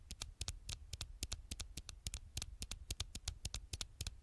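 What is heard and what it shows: Long nails tap and scratch quickly on the black glass screen of a thin, solid smartphone held screen side out. It sounds like a fast, uneven run of short, dry, bright clicks, each with a soft low thump and no ring. The clicks patter at roughly three to four per second over a quiet background.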